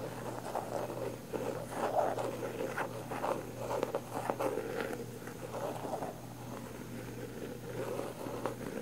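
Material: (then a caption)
Plastic. Long nails scratch and tap the lid and rim of a round plastic body butter jar with a pink floral lid. Soft, dry midrange scratching runs throughout, with light plasticky taps rising out of it, over a faint steady low hum.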